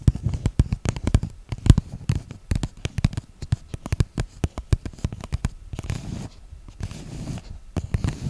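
Long nails tap and scratch the sides of a small, hollow, empty clear plastic cup held near a microphone. Rapid, irregular clicks with dull, low, thumpy bodies snap off almost instantly. Around the six-to-seven-second mark they give way to a softer, continuous scratching before the tapping resumes.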